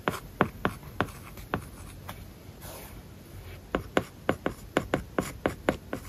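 A plastic stylus writes words on an iPad lying flat on a solid flat surface, its glass screen covered with a matte plastic paper-like film. About sixteen short, crisp tip taps and scratching strokes sound in two clusters, separated by a quieter stretch of soft rubbing in the middle.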